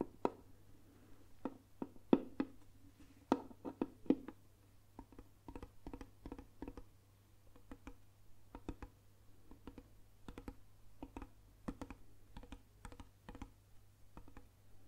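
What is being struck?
Round lacquered wooden box.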